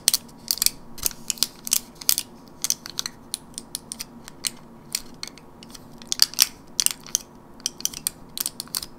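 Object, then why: Plastic and foil blister pack. Long fingernails tap and scratch across the surface of a teal printed plastic and foil gum blister pack held in the hand. A rapid, irregular series of sharp, bright clicks and crinkly scrapes sounds with almost no low end, each dying away almost instantly over a quiet background.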